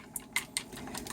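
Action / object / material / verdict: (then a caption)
shake / plastic paint bottle with enamel and a small agitator ball / plastic / none. A refilled plastic paint bottle of yellow lettering enamel is shaken, rattling the small agitator ball from the Alpha 6 Corporation paint maker inside it. Three sharp, bright clicks ring out separately, then a quicker, steadier run of softer rattles follows. Each click is short and dry, with most of the energy in the high range and little low end.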